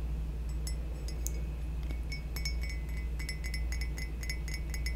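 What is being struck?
Glazed ceramic mug.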